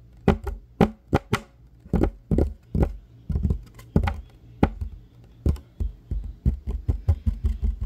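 Fingertips and short nails tap and scratch a solid, flat, light wooden table top, making about twenty dull, low knocks with a short, dry decay. Irregular taps mix with brief scratching between them, and the sound stays deep and muffled throughout.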